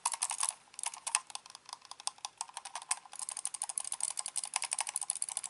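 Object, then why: Plastic computer mouse buttons and scroll wheel. A black hollow plastic gaming mouse is held in both hands, turned over and handled while its buttons and scroll wheel are clicked with the fingertips. A quick, uneven run of sharp, bright plastic clicks and ticks follows, with a brief lull early on and then a denser stretch. The clicks are quiet and dry, with almost no low end and very little ring.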